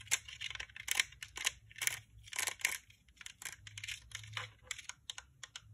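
Long painted nails tap and scratch on a hollow pink plastic dome UV nail lamp. It makes a quick, irregular run of crisp, bright clicks and dry scratchy rasps. Each sound is very short with almost no ring, and there is little low-end body.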